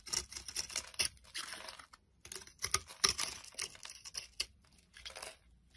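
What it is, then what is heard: Bar soap being scraped. A metal blade scrapes crumbly shavings off a solid oval bar of soap with herbal speckles, held in the hand. Quick, dry, crackly scraping bursts sound bright and crisp, with a brief pause near the middle before the scraping resumes.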